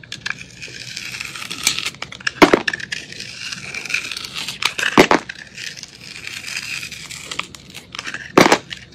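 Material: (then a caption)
Soap. A metal utility blade scrapes the crunchy blue glitter crust off a solid, palm-sized white soap bar. The result is a steady, bright crackling and crunching scrape, with three louder, sharper crunches standing out along the way.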